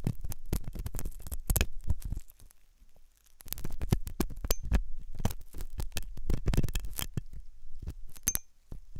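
A metal dental pick scrapes inside the hollow canal of a white, soft silicone ear on a binaural microphone. It makes a dense run of close, dull scratching and thumping sounds, mostly deep and muffled, with a short quiet stretch in the middle. A few faint, bright metallic tings come through.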